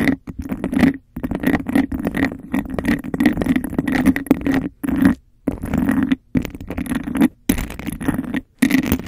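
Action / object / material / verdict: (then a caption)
scrape / textured glass cup / glass / none. Long nails scratch the sides of a hollow, empty textured glass cup held over a microphone and tap its rim fast. The result is a dense, rapid rasping scratch with a hollow, mid-low ring, broken by several brief silent pauses.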